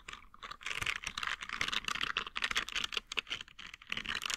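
A green silicone scrubber with nub bristles is bent while its bristles are scratched and flicked with the fingers. The result is a dense run of quick, dry clicks and crackly scratches, bright and crisp with almost no low end, rising and falling in loose bursts throughout.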